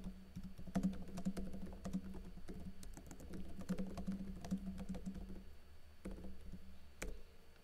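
Fingertips with blue-painted nails type fast on a backlit laptop keyboard with plastic keycaps, pressing and tapping the keys. A quick, uneven run of soft, muffled clicks and taps sits over a steady low hum. The typing briefly slows near the end before a few final keystrokes.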